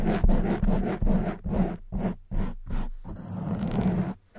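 Long white nails scratch and rub a soft black foam windscreen on a silver condenser microphone with both hands. The result is a close, muffled rasping with a low hum near 200 Hz, coming in repeated strokes with short pauses and fading at the end.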